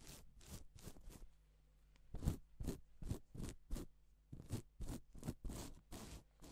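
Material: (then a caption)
Plastic. A gloved hand rubs reversible plastic sequin fabric on its silver side, using its fingers to flip the sequins over to pink. The result is a series of short, dry scratchy swishes, each bright, broadband and quick to fade, separated by brief pauses over a faint low hum.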